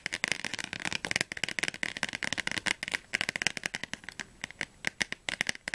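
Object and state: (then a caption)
Thick softcover dictionary. A thick, closed softcover Oxford Advanced Learner's Dictionary with a glossy blue cover is held in both hands and tapped quickly on its cover and edges with long fingernails. The result is a rapid, uneven stream of dry, crisp clicks, bright with a strong band around 2 kHz and almost no low end. Each tap dies away instantly with no ring.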